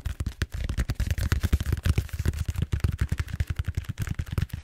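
Fingertips tap and scratch rapidly on the surface of a large purple styrofoam bead-foam roller held upright. The result is a quick, uneven run of about 26 dull, low thuds with very short decay and only a faint scratchy hiss above them.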